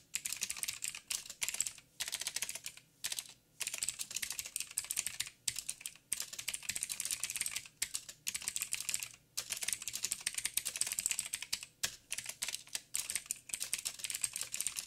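Fingertips of both hands type steadily on a backlit mechanical keyboard with black plastic keycaps on a silver frame and a hollow housing. The result is rapid, bright, clicky taps with almost no low end, each dying out almost instantly. They come in dense bursts separated by brief pauses.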